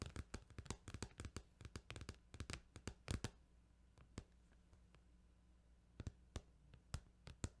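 Fingers tap on a plastic Final Fantasy 8 video game case, making a rapid run of short, sharp clicks over a low steady hum. After a brief quiet pause, a few sparser taps follow.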